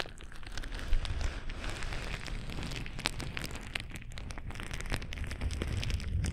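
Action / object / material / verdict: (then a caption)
scrape / plastic bubble wrap sheet / plastic / none. A sheet of clear plastic bubble wrap is held against the microphone and crinkled and rubbed with fingertips. The result is a steady, dense crackle over a heavy low rumble, with scattered sharp, bright clicks and pops throughout.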